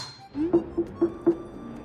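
A large home-grown watermelon from the garden is tapped by hand four times, each knock giving a short, hollow, low thump that dies away quickly. The good-sounding knocks mark it as ripe, and it proves to have well-ripened red flesh that tastes very sweet.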